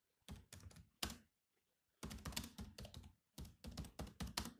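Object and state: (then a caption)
Plastic laptop keyboard. Fingertips type quickly on the black plastic keys of a silver laptop, producing dense bursts of clicky key taps with a low thunk under bright clicks. The taps come in short clusters, with a brief pause before a longer run of typing resumes.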